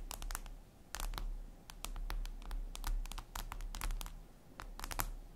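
Long red nails tap rapidly on a flat, glossy black glass surface, likely a tablet screen. The result is short, sharp, bright clicks in uneven, typing-like bursts over a steady low hum.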